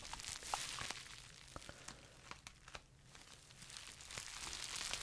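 A small, hollow, empty pink plastic bubble wrap pouch is squeezed and crinkled with the fingertips of both hands close to a microphone. Bright, hissy crinkling runs throughout, broken by sharp crackles and snaps, with the rustle swelling again toward the end.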